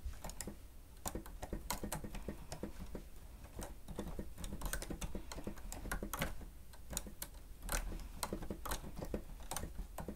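Plastic stenotype machine keys are tapped by the fingertips of both hands in steady typing. Quick, dry clicks with brief bright edges sound over a low, constant rumble, each tap dying away almost at once.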